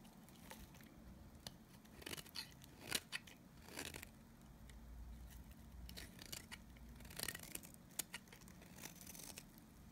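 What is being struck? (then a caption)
Bar of soap cut with a blade. A blade scrapes across the surface of a solid, dry oval bar of Nevskaya Kosmetika soap held in the palm, cutting off crunchy shavings. Quiet, bright, crisp scraping crunches come in irregular bursts, a few sharper, over a faint low background hum.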